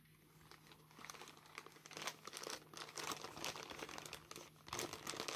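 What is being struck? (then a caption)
Plastic mailer bag. Black claw tips tap and scratch the paper label on a grey plastic mailer bag while gloved hands turn and crinkle the bag. Quiet, irregular, bright crinkling and scratching rises and falls in clusters over a faint steady low hum.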